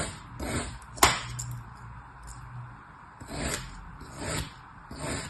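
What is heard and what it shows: A long solid log of beige kinetic sand lying on a table is held by one hand and sliced crosswise with a thin blade. A sharp, bright tick stands out near the start, and soft grainy scraping swells rise and fade as the blade cuts through the sand.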